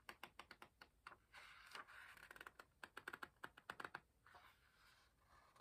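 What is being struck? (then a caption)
Paper pages of a hardcover book. Fingertips lift, rub and turn the paper pages of an open hardcover book. Quick, dry, crisp ticks of paper edges come in a rapid series, broken by soft, breathy rustling swishes as the pages slide over. The whole clip stays quiet and close.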